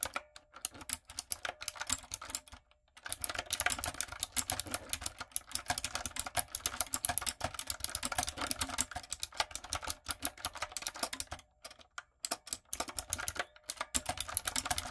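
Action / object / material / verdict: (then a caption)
tap / mechanical keyboard with plastic keycaps / plastic / none. Long nails and fingertips type steadily on a retro typewriter-style backlit mechanical keyboard with round plastic keycaps. The result is a dense run of sharp, bright plastic clicks and clacks that stop briefly near 3 seconds and again around 12 seconds before resuming.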